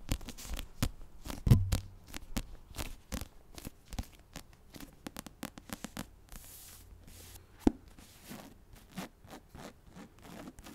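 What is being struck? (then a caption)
Paperback book with card cover. Long acrylic nails tap and scratch the glossy card front cover of a medium paperback novel, The Assassin's Blade, a solid paper block held up close to the mic. A quick, irregular run of short, dry taps with a dull, low body is mixed with soft scratchy scrapes. Each tap dies away almost instantly, and a couple of sharper knocks stand out near the start and later in the clip.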